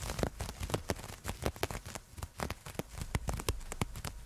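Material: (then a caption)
Nylon. Long nails scratch along a black nylon fishnet sleeve, a thin open mesh of fabric worn on a raised forearm and held away from the microphone. It makes a rapid, uneven series of short, dry, crackly scrapes that stop almost at once, with a soft low rumble underneath.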